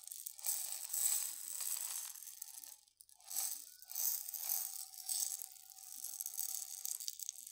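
A medium glass jar with a gold metal screw lid, full of dried green lentils, is held in both hands, tilted and shaken while fingertips and nails tap on the glass. The lentils make a bright, hissy rattle with no low end, surging in waves with a brief near-silent pause around the three-second mark. Light clicks and a faint steady ring run under the later shaking.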